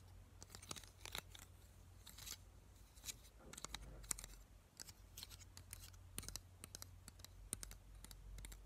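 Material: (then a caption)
Plastic. Fingertips and nails run over and flick the teeth of a small, hollow black plastic claw hair clip held up close, tapping and scratching it. Sharp, bright plastic clicks and ticks come in quick irregular bursts over a steady low hum, with faint scratchy rustling between them.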